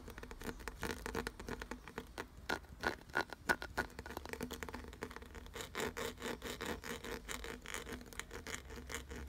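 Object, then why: Carved wooden object with ridged grooves. Fingertips rapidly scratch and rub the ridged grooves of a solid, glossy brown carved wooden piece. The result is a quick, irregular run of dry scratches and short clicks, with a faint ringing tone on a few strokes, over a steady low hum.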